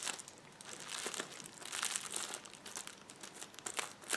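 A rolled sheet of clear plastic bubble wrap is scratched and pressed with fingertips and nails. It gives a steady, bright crinkling with dense crackles and small snapping peaks, with almost no low end. The sounds stop short, with no ring.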